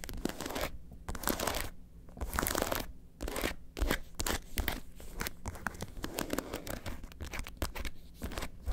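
Long acrylic nails rapidly scratch and tap along the body of a red studded faux leather lobster handbag turned on its side. Quick bursts of crisp, bright scratching alternate with short pauses, over a hollow low thump from the empty bag.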